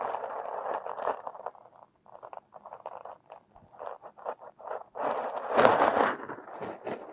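A metal hook pick scrapes purple kinetic sand packed around a silicone nose near the nostril. Soft, gritty midrange scratches come in quick, uneven strokes, with quieter short bursts in the middle. Longer, louder scrapes open the clip and swell again near the end.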